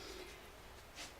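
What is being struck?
Nothing is struck.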